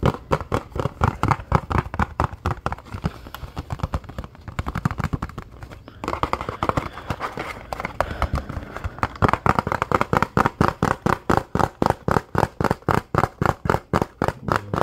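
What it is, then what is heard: Cardboard box tapped and scratched. A small, hollow, printed Nexcare cardboard bandage box is held in both hands and quickly tapped and scratched with the fingertips. Fast, dry, hollow taps with a mid-range knock around 1.2 kHz come at nearly four per second and blend with soft scratching. The taps become more evenly spaced and distinct in the second half.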